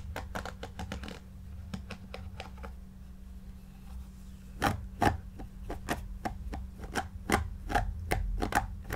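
A white paddle hairbrush with pin bristles is drawn through the long, shaggy, yarn-like synthetic pile of a large, soft, stuffed faux fur pillow while the other hand holds the pile. It makes a series of short, dry, scratchy brushing swishes over a steady low hum. The strokes come in quick bursts at first, thin out, then return louder and more spaced toward the end.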